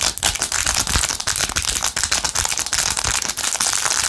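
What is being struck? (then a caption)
Rhinestone-covered plastic phone case. Long nails scratch and tap fast across a blue, rhinestone-covered plastic phone case held in both hands. The result is a dense, bright, crackling stream of scratches and quick clicks that runs steadily without a pause.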